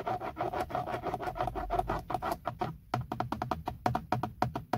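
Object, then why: Hard plastic steering wheel airbag cover. Fingertips and short nails tap rapidly on the hollow, hard textured plastic center airbag cover of a BMW steering wheel. The result is a quick, steady stream of short, dull hollow knocks with a low thud underneath and a mid-range plastic ring. Each tap dies away almost at once, with very little high brightness.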